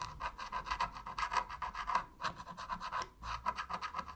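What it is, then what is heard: Plastic game controller being scraped. A metal pick scrapes along the seams between the sticks and buttons of a black, hollow plastic PS3 controller to clean it. The result is a quick series of dry, scratchy rasping strokes with a steady midrange tone near 1 kHz, with a brief pause partway through before the scraping resumes.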